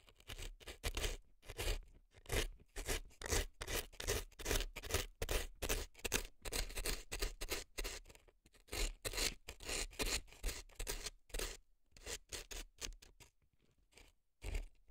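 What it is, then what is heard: Dry floral foam scraped inside a silicone ear. A gloved hand scrapes dry floral foam packed inside a left silicone elf ear with an earpick. The result is a quiet run of short, crisp, dry scratching strokes, with bright crackly texture and a low thump under each stroke, coming in irregular bursts with brief pauses between them.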